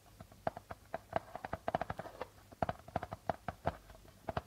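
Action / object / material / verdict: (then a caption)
tap / darbuka drum with plastic membrane / plastic membrane / none. Fingertips and nails tap and scratch near the center of a hollow darbuka's white plastic head printed with a logo. An irregular run of short, dry taps sounds, each with a brief hollow tone around 680 Hz, alongside faint scratchy rustling between them.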